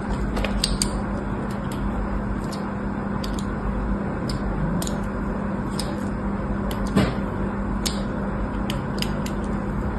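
A thin blade scores lines across the surface of a solid white embossed bar soap resting on a blue cloth. Faint, bright scratchy ticks and scrapes come at irregular intervals over a steady low hum with a tone near 200 Hz.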